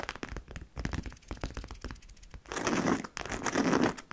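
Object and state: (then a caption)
Coated canvas handbag tapped and scratched. Long nails on both hands tap and scratch the front panel of a medium-sized, hollow, black DKNY monogram coated-canvas handbag with leather trim and metal buckles. Quick, irregular, dry taps and clicks come first, followed by two longer bursts of brighter, raspy scratching across the canvas.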